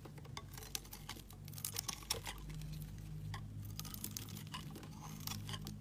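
A solid white bar of soap held in the hand is shaved into strips with a snap-off utility knife blade. Quick, bright scraping and cutting strokes crackle over a steady low hum.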